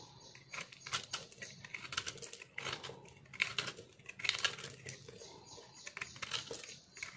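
A metal knife scrapes and carves a solid green soap bar with white flecks, held in the hand, shaving off dry crunchy shards. Bright, crackly scraping comes in a rapid run of short bursts, with almost no low end.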